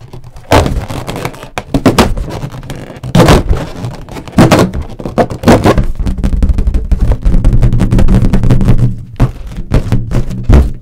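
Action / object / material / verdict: tap / inflated latex balloon / latex / none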